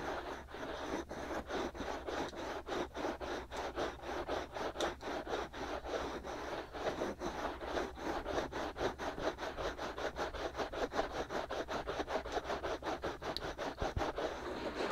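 Short fingernails and fingertips scratch both white, hollow silicone ear molds on a binaural microphone. The result is a steady, dense midrange scratching made of quick, slightly uneven strokes that run continuously through the clip, with a faint low hum underneath.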